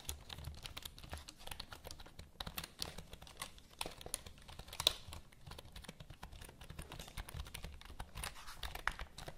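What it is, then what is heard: Plastic computer keyboard. Long nails tap and click the keys of a full-size black plastic HP computer keyboard held close to the mic. The quiet, dry clicks come in a steady stream of about 28 short, bright taps over a low rumble, with almost no ring after each one.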